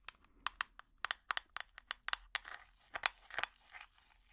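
An empty small clear plastic tub with an orange lid is tapped with plastic finger picks. About fifteen quick, dry, bright clicks come in an irregular rhythm, with softer crinkly rasping between some of them. Each tap stops almost instantly with no ring.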